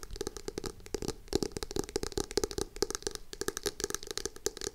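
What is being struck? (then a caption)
Hardcover notebook cover. Long acrylic nails tap and scratch the glossy, starry front cover of a navy hardcover notebook held in both hands. A rapid stream of short, crisp taps with a hollow mid-pitched knock mixes with bright scratching across the surface. Each tap dies away almost instantly.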